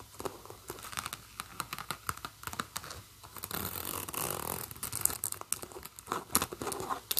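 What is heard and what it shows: Long painted nails run along, scratch and flick the long metal-toothed zipper and pulls on top of a medium leopard-print and black faux-leather handbag. Quick, bright ticks and clicks come in a loose patter, swelling midway into a denser, continuous raspy scratching before breaking back into scattered sharp clicks.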